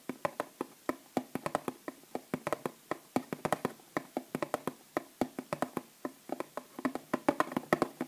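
Long nails rapidly tap the flat cardboard end panel of a small bath bomb box held upright and filled with bath bombs. The taps come out as short, dry, hollow clicks in a quick, uneven rhythm, each dying away at once with no ringing.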